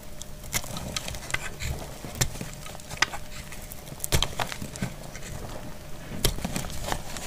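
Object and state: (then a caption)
Dry soap bar. A small, solid, dried brown soap bar held in the hand is cut with a metal utility blade, shaving off hard slices. Sharp, crisp snaps and brief scraping crackles ring out bright and dry at uneven intervals over a soft low rumble.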